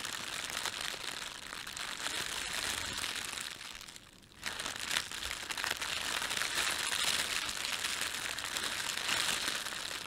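Fingertips bunch and crumple an empty, thin, red printed plastic bread bag. A dense, bright crinkling and crackling of the film runs throughout, dropping briefly to near silence around four seconds before resuming just as busily.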